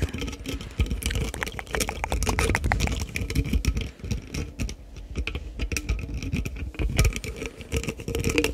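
A green and pink labelled plastic sports drink bottle, hollow and appearing full of liquid, is held in one hand while fingertips and nails tap rapidly on its cap and upper part. The result is a dense, continuous patter of short, dull plastic knocks with a low thumping body and bright clicky edges, ringing only briefly after each tap.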